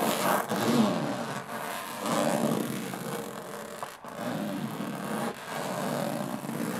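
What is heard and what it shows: Long nails scratch slowly across the textured lid of a closed, hollow aluminum carry case. The result is a steady, raspy scraping with a hollow resonance that swells and fades in long strokes, with brief pauses between passes.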